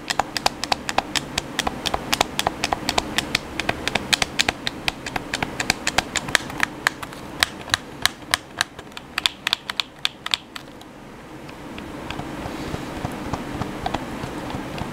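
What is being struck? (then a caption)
Plastic game controller. Thumbs and fingertips tap and click the face buttons of a black, hand-sized, hollow plastic PS4 controller. There are about 67 rapid, irregular, dry, bright clicks over a low background hum. The clicking stops at around 10.5 seconds, leaving a steady low hiss that grows slightly louder until the end.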